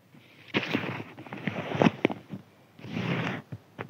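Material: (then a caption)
Paper. Fingertips scratch and rub a thin white crinkly paper sheet, making dry, rustling crinkles with sharp ticks. The sound comes in bursts, with a longer rubbing stretch near the end and quiet gaps between.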